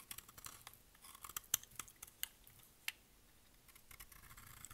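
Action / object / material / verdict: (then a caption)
scrape / bar of soap / soap / none. A utility blade shaves and scrapes the surface of a solid, dry, rectangular pink bar of soap held in the hand. Quiet, bright, crisp scraping is broken by irregular sharp, dry clicks and crackles that stop instantly with no ring.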